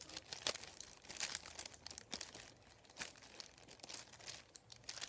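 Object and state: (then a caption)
Paper sheet being scratched. Fingertips scratch and rub across a thin, folded, white printed paper sheet lying on a wooden table. The result is a quiet, bright, dry run of crinkling and scratching bursts with almost no low end and no ring.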